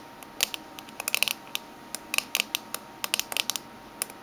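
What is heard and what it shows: Medium-long fingernails of both hands tap a closed, small oval aluminium Minteas mint tin with a green lid and orange band, lying on a red table. The result is a quick, irregular series of sharp, bright metallic clicks with almost no ring, spaced by short pauses against a faint background hiss.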